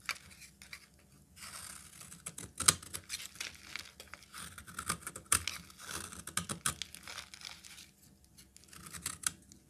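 A metal utility knife blade cuts into a solid, hand-sized peach bar soap, and chunks break off. Crisp, bright scraping and crumbly tearing come in short bursts, with a few sharp clicks standing out as the pieces snap away.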